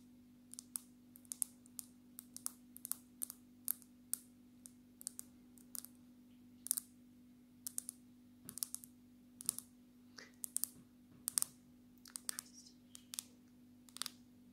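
Long natural nails of both hands tap the glass surface of a black, glass-backed smartphone held upright. About forty quick, bright clicks land in an irregular, rapid rhythm, each dying away almost at once. A steady low hum runs underneath.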